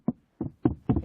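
Knocks on the raised box in the middle of the rear floor of a Nissan Leaf give a series of short, dull, hollow-sounding thuds centered low around 300 Hz, with almost no ring. The hump sounds hollow, and it seems unnecessary since the car has no rear axle or transmission that would need it.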